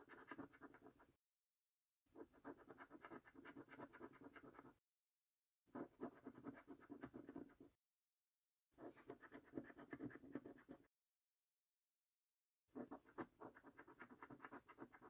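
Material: Paper.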